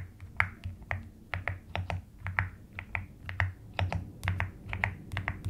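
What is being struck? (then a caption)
Plastic mechanical keyboard keycaps. Long nails type and tap on the pastel plastic keycaps of a white-cased mechanical keyboard. The result is a steady, uneven run of about 22 short, clicky taps with a low hum underneath.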